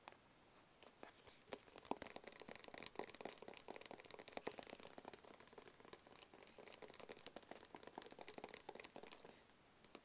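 A small, hollow, rigid black cardboard box is held in both hands close to the camera and tapped rapidly with fingertips and nails. It gives a dense run of quick, dry, bright clicks and light papery taps with almost no low end and no ring. The tapping starts after a brief quiet moment, runs steadily, and thins out at the end.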